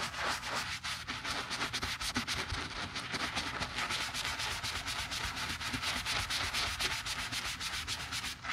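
A thin tan leather insole, removed from a Tod's driving shoe and held in gloved hands, is scrubbed with a wooden-handled bristle brush through soap foam. Quick back-and-forth strokes, about four per second, make a steady bright, hissy scrubbing with a slight wet crackle.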